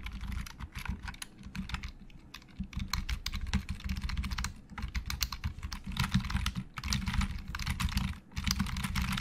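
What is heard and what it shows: Fingertips of both hands type on a hollow black plastic Logitech keyboard, making a quick run of clicky keystrokes with brief pauses around 2 and 8 seconds. Each short, dry tap carries a bright click over a dull, hollow low thump that fades almost at once.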